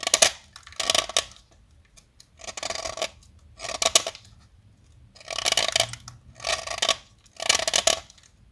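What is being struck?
Blackboard chalk stick shaved with a metal blade.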